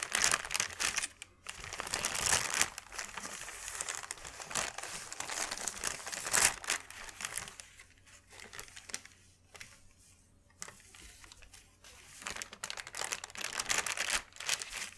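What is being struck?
Thin paper sheet.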